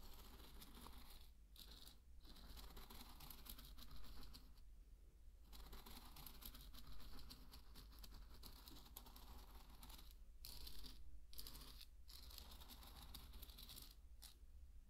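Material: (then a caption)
Barley grain. A thin wooden stick is stirred through dry pearl barley grains, making a quiet, steady rustle and crackle of shifting grains with bright patter. The stirring stops briefly several times, and a low hum runs underneath throughout.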